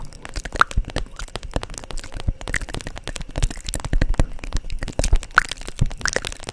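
Long nails tap and scratch a holographic vinyl makeup pouch held upright, making a dense run of quick, dry crackles and crinkly ticks with a low, muffled body. The hits come too close together to count reliably, each snapping off almost instantly.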